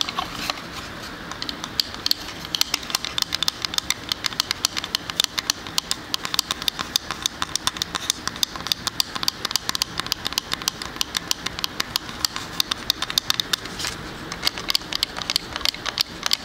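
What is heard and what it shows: A small, square decorative "Sleigh bells ring" wall sign, made of wood plank panels set inside a raised frame like a shallow box, is tapped and scratched with fingernails. Rapid, dry, bright clicks and scratches rattle off the wood in a dense, steady stream. Each one is crisp and dies at once, with almost no low end.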